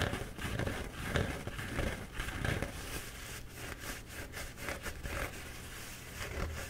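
Fingernails and fingertips scratch the embossed paper of a bee-printed paper towel roll held in both hands. The result is a steady run of soft, crinkly, crackling scrapes in irregular bursts, with a bright papery hiss over a low, dull rumble.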